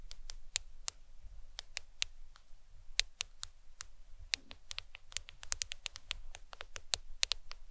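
Long nails tap the glass screen and edges of a black smartphone held in the hand. The result is an irregular series of sharp, bright clicks that stop instantly with no ring, over a faint low rumble.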